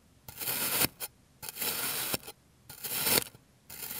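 A clear plastic blade slices and then cross-cuts a rounded, solid slab of green kinetic sand resting on an orange surface. Each stroke makes a bright, gritty scraping hiss, and several end with a brief soft tap. The strokes come in a loose series, separated by short quiet gaps.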